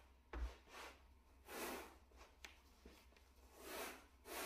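A small, solid, flat grey plush shag carpet mat is brushed with a wooden bristle brush held in a gloved hand. Slow, broad swishing strokes rise and fade, mixed with a few sharp taps and a low thump near the start.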